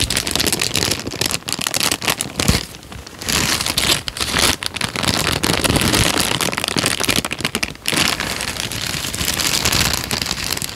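A thin tan paper sheet is crumpled and then stretched flat with both hands, giving dense, bright crinkling and crackling that runs almost continuously. The rustle swells and fades, with brief quieter dips near 3, 4.5 and 8 seconds.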